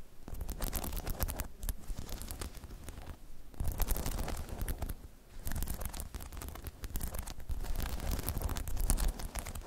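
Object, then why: Hollow spiky rubber half-dome balance pod. Long chrome nails scratch and tap across a hollow, spiky rubber half-dome balance pod. The result is a dense, continuous run of quick scratchy, crackling strokes with a deep, muffled low-end thump under them. Brief quieter gaps break up the texture.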